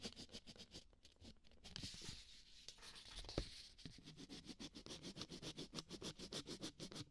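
A ballpoint pen is dragged across a thin white sheet from a small spiral notepad, lying flat on a dark cloth-covered table, while writing and colouring. Quick, uneven bursts of bright, dry scratching repeat throughout. A smoother, denser rubbing stretch in the middle includes one sharper tap.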